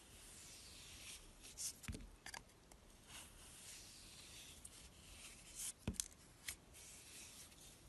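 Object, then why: Bar of soap cut with a kitchen knife. A kitchen knife shaves and cuts curls from the edge of a rectangular, solid blue and white swirled soap bar held in the hand. Soft, bright scraping and rubbing hiss runs throughout, broken by a few sharper cutting snicks and taps.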